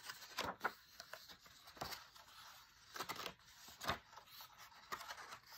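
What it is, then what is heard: Paper book page. A run of soft scratches and brief taps, airy and high, each dying away at once with almost nothing in the low end. It is fingertips and short nails rubbing and tapping a matte paper book page, heard close up in a small quiet room.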